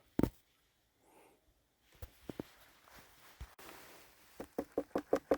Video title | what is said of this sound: The first garden bed of 2025! Beet Harvest and Setting Garlic | still got that Hollow sound